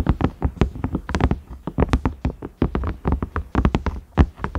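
Fingernails tap quickly on the round knob and ridges of a large cream ridged silicone microwave lid. The result is a steady run of short, dull, low taps with almost no ring, varying slightly in loudness from tap to tap.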